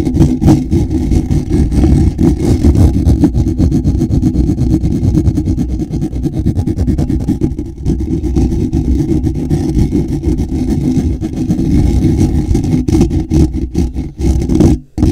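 Fingertips and nails scratch the underside and sides of a black woven wire-mesh microphone grille shaped like a hollow dome. The result is a loud, dense, continuous scratching with a deep, boomy rumble and rapid crackly scrapes throughout. Near the end the sound briefly dips and then returns.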